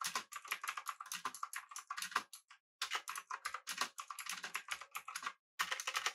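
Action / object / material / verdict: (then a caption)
tap / mechanical keyboard, aluminium body, plastic keycaps / plastic / none. Fingertips of both hands type rapidly on a full-size, backlit, typewriter-style mechanical keyboard with blue switches, an aluminum body and round plastic keycaps. The result is bursts of crisp, bright, clicky keystrokes that ring only briefly, broken by two short silent pauses.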